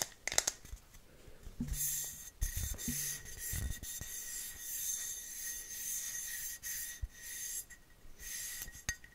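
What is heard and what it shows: A medium-size, pressurized white aluminium deodorant aerosol can with a teal cap is shaken, rubbed and scratched with long fingernails. The result is a bright, dry scratching and rasping texture with a thin steady high tone running through it, broken by a few short, sharp taps and low thuds from handling.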